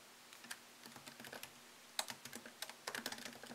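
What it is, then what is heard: Laptop keyboard being typed on. Fingertips tap the plastic keys of a MacBook Pro laptop keyboard set in an aluminium body, typing at a slower pace. Quick, bright clicks with almost no ring come in uneven runs, with brief pauses between bursts.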